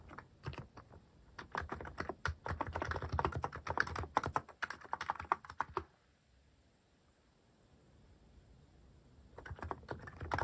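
Fingertips type on a mechanical keyboard fitted with plastic cat-shaped keycaps, making quick, irregular clacks with a thumpy low end and a bright click on top. A burst of typing runs until about six seconds, pauses into near silence, then resumes briefly near the end.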